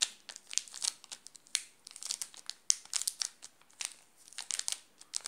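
Fingertips tap and scratch across a wrapped chocolate bar in a red plastic film wrapper, making it crinkle. A quick, irregular series of sharp, bright crackles and rustles comes in clusters with brief quiet gaps, with almost no low end.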